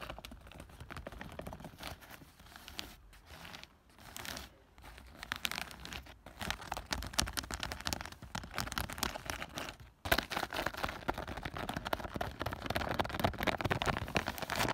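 Long fingernails and fingertips scratch and tap quickly across a large, soft, dark green woven plastic mesh garden cover wrapped around a tall hollow object outdoors. The result is a dense, dry, crinkly rustling with a rough tearing-like texture. It pauses briefly a few times, then grows louder and brighter after about ten seconds.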